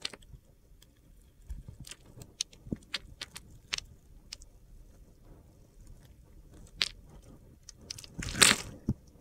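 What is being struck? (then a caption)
Bar of soap. A metal box-cutter blade scores and scrapes a solid blue glitter-topped bar of soap held in hand, carving it into small cubes as chips fall onto the table. A series of crisp, bright scratching crunches sounds over a quiet background, with the loudest gritty scrape near the end.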